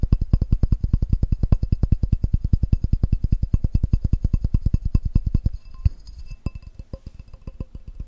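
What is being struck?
Glass measuring cup.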